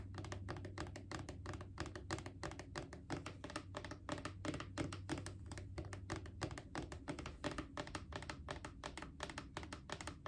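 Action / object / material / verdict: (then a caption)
tap / plastic wipes canister / plastic / none. A mid-sized hollow plastic Clorox disinfecting wipes canister is tapped rapidly with long acrylic nails. The taps land in quick, uneven runs of clicky hits with a hollow, low-bodied thunk and a short ring, over a faint low background hum.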